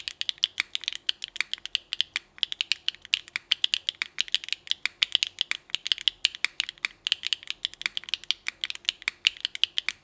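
A small 60% mechanical keyboard with rainbow GMK ABS keycaps, an aluminum plate and HMX Hyacinth switches, resting on a desk mat, is typed on with the fingertips of both hands. The result is a steady run of short, crisp, bright key clicks with almost no low end and no ringing tail.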